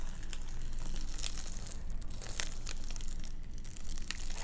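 Long nails scratch and tap the quilted foil of a large metallized bubble-foil windshield sunshade with a fabric border, lying flat on a table. The result is a steady crinkly, papery scratching with bright, sharp tap accents over a constant low rumble.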